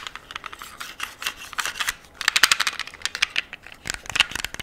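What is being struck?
Metal handgun.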